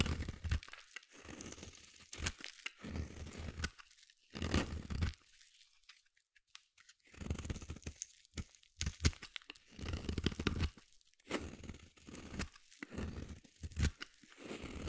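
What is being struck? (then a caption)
Solid bar soap shaved with a small blade. A small metal blade carves fine shavings from the end of a palm-sized solid white bar of soap. Each stroke makes a dry, crunchy scraping and tearing sound, weighted toward low tones with a bright edge. The strokes come in short bursts separated by brief silent pauses.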